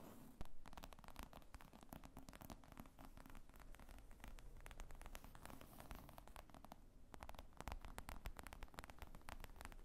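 Long nails tap and scratch across the top of a black leather zippered briefcase lying flat, which is hollow and padded. A quiet, steady stream of rapid, dull, low taps mixes with soft scratchy rustling, with one slightly sharper tap near the start.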